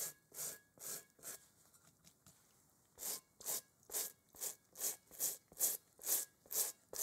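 A gloved hand scrubs a large, hollow, inflated rubber kickball with a pebbled texture using a small bristle brush. Bright, airy scratching strokes come in a brisk back-and-forth rhythm. After a few strokes there is a brief quieter stretch of lighter brushing, then the strokes return in a steady run.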